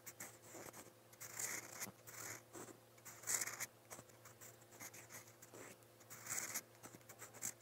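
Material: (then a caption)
Paper. A metal fountain pen nib scratches strokes onto the page of a lined white paper notepad resting on a desk. Bright, dry scratching bursts rise and fall in short and longer strokes over a faint steady low hum.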